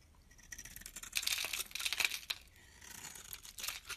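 A small, solid, pale green soap bar held in the hand is shaved into flakes with a metal utility blade. The blade makes crisp, bright scraping strokes that rise and fall in quick, uneven bursts, with almost no low end.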